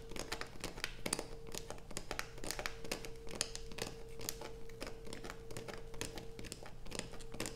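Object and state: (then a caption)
Bar of soap scratched with fingernails. Long nails scrape a solid blue bar of soap resting on a black plastic sheet, with one hand steadying the bar. The sound is a quick, continuous run of crisp, crinkly scratches with sharp bright ticks, over a faint steady low hum and a thin constant tone.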